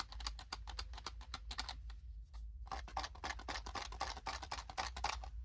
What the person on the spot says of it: That is the sound of graham crackers and the s'mores. They're in that graham cracker box